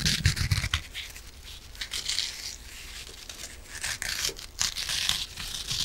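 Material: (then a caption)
Foam. A yellow and green foam kitchen sponge with a scouring pad is held close to a microphone and scratched and squeezed with long nails. The result is a dense, bright, crinkly rasping and scraping with soft low thumps, loudest at the start and swelling again toward the end.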